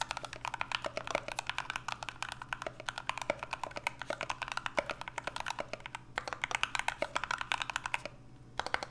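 Two hands type steadily and fast with their fingertips on an NK65 65% mechanical keyboard with an aluminum case, Everglide Aqua King switches and PBT Notion keycaps. The result is a rapid stream of short, bright, clacky keystrokes over a faint low hum, with brief pauses around 6 and 8 seconds.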